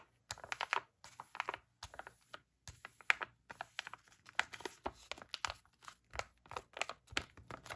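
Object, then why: Plastic foil sachet. Long black-painted nails tap and scratch the surface of a sealed, full, flat plastic-foil Freeman clay face-mask sachet held in the hands. The result is bursts of quick, bright, crisp clicks and dry crinkling, with short pauses between them and almost no low end.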